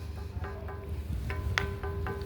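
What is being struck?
Stone slab bell.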